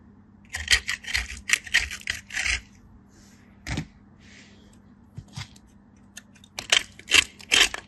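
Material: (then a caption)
Soap. A small solid piece of soap, pressed with fingertips and blue nails, is scraped along a stainless-steel box grater. It makes quick, bright rasping scrapes in an uneven rhythm: a dense run of strokes at first, a quieter stretch with a few soft scrapes, then another burst of strokes at the end.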